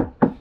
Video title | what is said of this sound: Cage painting & Sounds Deadening - Getting this Foxbody back to Street Status! | make stuff sound nice and solid